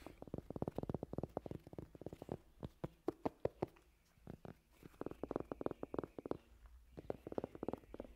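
Fingertips scratch and tap the deep treads of large, worn, hollow rubber tractor tires standing upright. Rapid bursts of soft, dull, low-mid thumps come in quick runs separated by brief pauses. Each tap dies almost instantly with no ring or brightness.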